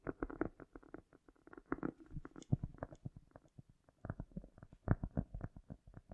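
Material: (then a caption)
Cork. A round, solid cork disc held in the hands has its surface and edge scratched and tapped with long nails, with an echo effect added. Quick, irregular, soft taps and scratchy brushes come in dense bursts, mostly low and muffled with little bright content, each dying away almost instantly.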